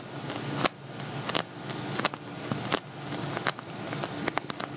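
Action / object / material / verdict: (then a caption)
tap / glitter vinyl cosmetic bag / vinyl / none. Fingernails tap and scratch the glittery surface of an empty, hollow silver glitter vinyl cosmetic bag held upright. About ten sharp, dry taps stand out at irregular intervals over a steady, bright scratching rustle.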